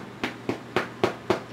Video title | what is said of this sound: Dill Bread by Chef Ellie Espo | the true test is when you take it out it sounds hollow and it does